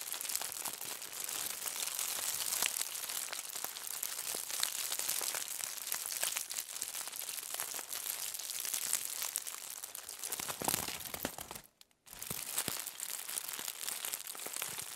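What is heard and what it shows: A thin, crinkled aluminum foil sheet lying flat on a table is scratched and pressed with the long nails and fingertips of both hands. The result is a dense, steady stream of bright, crackling crinkles with almost no low end. Near the end the sound drops to near silence for a brief moment before the crinkling resumes.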